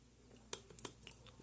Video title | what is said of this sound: Chassis Maintenance | if you can hear them tap then you know they're sticking up a little bit you might have to do a little bending